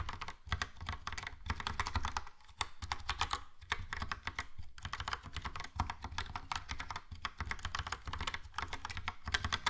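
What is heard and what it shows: Fingertips type steadily on a Logitech POP Keys plastic mechanical keyboard with a yellow plastic case and round plastic keycaps, producing a dense stream of quick, bright clacks over a low thud. The keystrokes run nearly continuously with only brief pauses and die away almost instantly.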